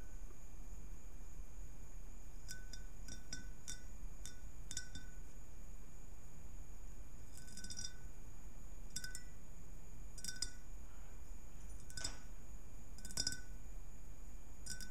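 Long natural nails tap and scratch along the vertical ribs of a round, hollow, empty clear glass globe or bowl resting on a purple cloth. Scattered light, bright clinks and ticks ring briefly at a high pitch, with occasional quick scratching runs along the ribs. Underneath is a steady low background hum.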